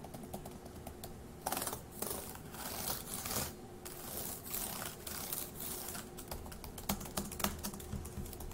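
One hand types with its fingertips on a dark grey laptop keyboard with plastic keys, making quiet, quick, irregular clicks and taps. A few louder, broadband swishing bursts come in between, over a faint steady low hum.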